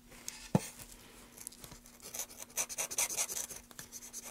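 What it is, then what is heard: Wooden block being carved. A gloved hand holds a solid, light wooden block upright and scrapes and cuts its grooved face with a carving knife. A single sharp knock comes early, followed by a run of short, bright scraping and shaving strokes that grow denser and louder in the second half, with a faint steady low hum underneath.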